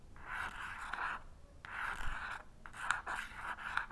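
An unlit wooden match head, held by the fingertips, is scratched repeatedly across the purple, sandpaper-like striker strip of a small cardboard matchbox. This makes a series of raspy, papery scraping strokes centred in the mid-range, with faint sharp ticks. The match never lights.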